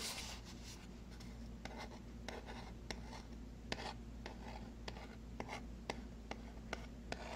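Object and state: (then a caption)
Cardboard box tapped. A small, hollow white cardboard box for Bread macadamia oil is tapped with fingertips and fingernails, giving about 12 light, dry clicks and taps with brief rubbing between them. A steady low hum runs underneath throughout.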